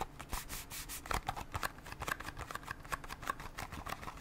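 Long nails tap rapidly on a small cardboard Band-Aid box with a Mickey Mouse design. The result is a quiet, fast run of dry, papery clicks with a slight scratchy texture, and each tap dies away almost at once.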